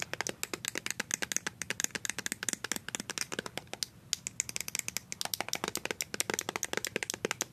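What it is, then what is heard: Plastic squeeze tube. Fast tapping with paper-clip-covered nails on a small white plastic BB cream squeeze tube with a blue cap makes a rapid run of sharp, bright, clicky taps with almost no low end. The taps die away instantly and pause briefly around the midpoint before the quick rhythm resumes.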